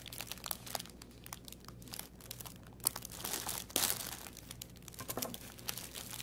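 A thin clear plastic bag with a green artificial plant inside is held in both hands on a wooden table and squeezed and crinkled with the fingertips. It makes a continuous bright, papery crinkling with sharp crackles, louder bursts near the 3- and 4-second marks, and a faint low hum underneath.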